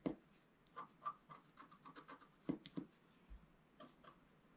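A wooden stylus lightly scratches fine lines into the coating of a flat, black-coated scratch-art sheet, about A4, lying on a table. Fourteen short, quiet, dry scratches come in irregular bursts. Each has a soft, papery rasp with a slight bright edge and no ring.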